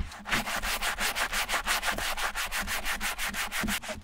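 A small wooden-handled bristle brush scrubs the light leather, foam-backed insole inside a silver Repetto ballet flat to clean and restore it. About 18 quick back-and-forth strokes make a steady, rhythmic, bright scratchy hiss that swells with each stroke.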